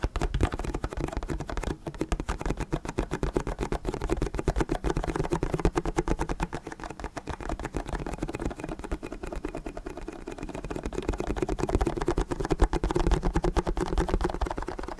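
Fingertips tap rapidly and steadily on the sides of an empty, hollow, clear plastic water bottle with a label, close to the microphone. The result is a continuous stream of soft, dull, hollow thuds, mostly low in tone with very little brightness, each dying away almost instantly. The tapping eases slightly in the middle before picking up again.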